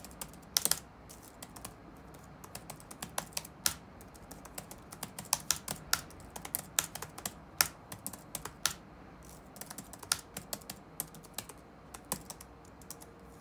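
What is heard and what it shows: Fingertips tap on the black plastic keycaps of a dark laptop resting on a wooden desk, producing a steady run of quick, irregular typing clicks. Each keystroke is a short, bright tick with almost no ring, set over a faint low hum.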